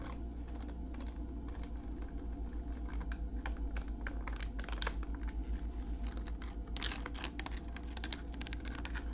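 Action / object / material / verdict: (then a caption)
tap / soft plastic wipes pouch with rigid plastic lid / plastic / none. A hand-sized soft plastic pouch of makeup remover wipes, apparently full, with a rigid white plastic flip lid, is held up and tapped with short fingernails and fingertips on the lid and pouch. Quick, uneven clicks and soft crinkly taps keep up continuously over a steady low hum, with brighter, sharper ticks now and then.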